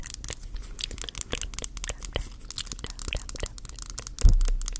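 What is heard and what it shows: Long acrylic nails rapidly scratch and tap the flat, light-wood back of a solid, hand-sized round brush printed with a brand name, held with the back facing the mic. The result is a dense stream of crisp clicks and scratchy rasps, with a louder, duller knock near the end.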